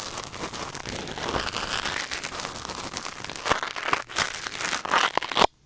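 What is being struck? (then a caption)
Silicone ear scraped with a wooden ear pick. A thin wooden or bamboo ear pick, held in the fingers, scratches and scrapes inside the ear canal of a white silicone ear mounted on a black binaural microphone. It makes a close, dense, crinkly rustling with a bright hiss. A few sharper, louder scrapes come near the end before the sound cuts off abruptly.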